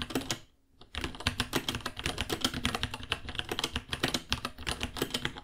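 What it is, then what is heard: Plastic mechanical keyboard. Fingertips type on a white 66-key mechanical keyboard with Gateron Brown switches, plastic keycaps and a hollow case about 30 cm long. A rapid, steady stream of short, dry, bright clacks with a low hollow thock under each press follows a brief pause near the start.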